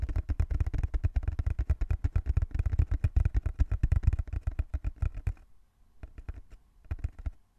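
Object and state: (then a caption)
Cardboard box. Fingertips tap and scratch on the surface of a small, closed, hollow brown cardboard box held in both hands. A fast run of dull, hollow, low thumps with faint scratchy texture lasts about five seconds, then thins to a few sparser, quieter taps separated by short pauses.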